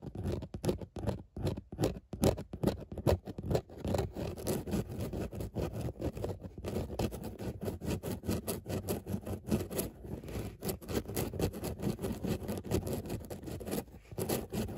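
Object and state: Fabric car seat scratched with nails.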